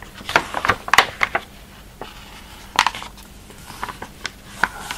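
Fingertips rub and scratch across the surface of a large open catalogue of thin glossy printed paper pages, lying flat on a table as a thick, solid stack while both hands rest flat on the spread. Short, dry, bright scratches and ticks come in quick clusters, separated by a faint hiss of quiet rubbing.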